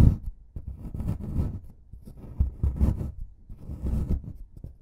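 A white plastic brush scrubs and scratches a solid plaster excavation block, loosening plaster dust. The sound is a dull, low, close-up scraping with repeated short scratchy strokes. It rises and falls in uneven bursts, with no ring after each stroke.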